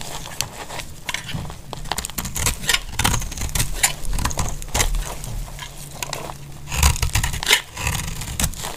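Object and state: Dry bar soap being shaved with a blade.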